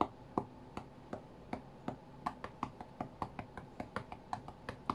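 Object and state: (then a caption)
Fingertips tapping a glass tablet touchscreen. Fingertips of both hands tap the glass touchscreen of an iPad tablet lying flat on a cutting mat, as if playing a rhythm game. About 21 short, dull taps sound with brief clicky transients over a quiet background, slow at first and then quicker and denser toward the end, each dying away almost instantly.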